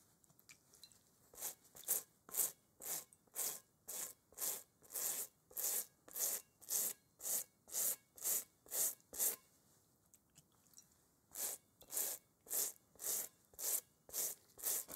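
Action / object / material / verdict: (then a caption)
scrape / textured rubber playground ball / rubber / none. A gloved hand scrubs a large, hollow, textured rubber kickball with a toothbrush while holding it over a bowl. Steady, bright, hissing brush strokes repeat at about two per second. After a brief pause near the tenth second, the scrubbing resumes.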